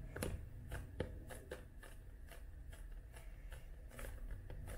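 A paperback book is held flat while long nails tap its glossy cover and paper page edges. A steady run of quick, light, dry clicks sounds over a low, soft rumble, each tap dying away almost at once.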